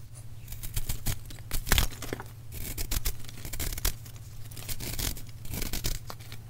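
A small metal knife scrapes and cuts into a solid white, palm-sized block of plain gym chalk (magnesium carbonate), gripped by fingertips with painted nails over a bowl of crushed chalk, and the chalk crumbles off. Dry, bright rasping scrapes and gritty crumbling come in irregular bursts over a steady low hum.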